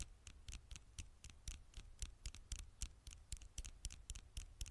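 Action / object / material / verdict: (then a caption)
tap / glass smartphone screen tapped with fingernails / glass / none. Long nails tap and scratch the glass screen of a black smartphone held at an angle near the microphone. About twenty sharp, bright clicks, each with a soft low thump, come at an uneven, fairly quick pace. Every click dies away almost instantly over a faint scratchy hiss.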